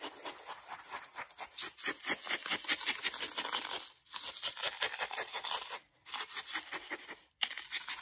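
A metal spoon scrapes and taps around the inside of a hollow white ceramic mug with a red flower pattern. The result is a fast, bright run of scratchy scrapes and sharp clicking taps with almost no low end and very short ring. It pauses briefly around the 4, 6 and 7.4 second marks.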